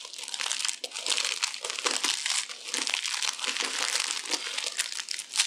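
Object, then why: Rolled soap shavings. A hand-sized spiral roll of thin pink and green dried soap shavings with a hollow center is held in both hands and squeezed and crushed with long-nailed fingertips, crumbling into flakes. A dense, continuous stream of dry, bright crinkling crunches is heard, with rapid crackles and almost no low end.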